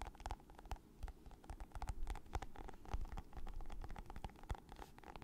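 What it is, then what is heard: Plastic lotion tube. A hand-sized, soft, squeezable plastic lotion tube with a green and purple leaf print and a white label, partly full, is held in the hands and tapped and squeezed with long nails and fingertips. It makes a quiet, rapid series of short, dry clicks and taps over a low, muffled rumble. Each tap stops at once with no ring.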